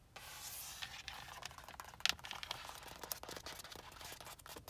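Long acrylic nails and fingertips rub and scratch along an iridescent, holographic vinyl (synthetic leather) cover on a car steering wheel rim. The result is a steady, bright, hissy scraping with quick clicks and one sharper snap near the middle. Nearly all of the sound sits in the high frequencies, with almost no low end.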